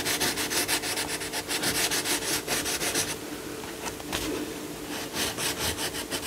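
A yellow coloured pencil shades a lion's body and face on a paper colouring book page lying flat, with fast rubbing strokes while the other hand holds the page down. The strokes make a dry, bright, scratchy rasp in quick bursts, easing into a softer, quieter stretch midway before the brisk shading picks up again.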